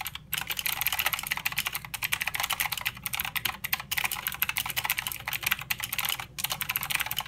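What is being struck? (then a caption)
Mechanical keyboard with plastic keycaps. Both hands type with their fingertips on a mechanical keyboard with plastic keycaps and blue switches. The result is a fast, steady stream of crisp, bright clicks that end almost instantly, with brief pauses between bursts.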